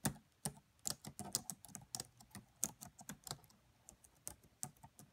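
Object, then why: Plastic laptop keyboard. Fast typing with long nails and fingertips on the black plastic keys of a red laptop keyboard. About 18 quick, dry taps and clicks with a bright, high edge and very short decay, spaced unevenly across the clip.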